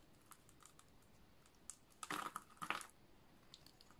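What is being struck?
Bar of soap scraped with a blade.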